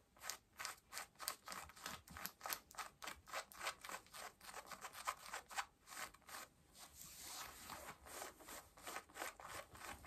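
Long nails scratch worn pale yellow cotton denim jeans at the waistband and button, making about 26 quick, dry, bright rasping strokes at a brisk, uneven pace. Around the middle, the strokes blur briefly into a softer, continuous rub before the distinct scratches resume. The sound is quiet and papery, with almost no low end.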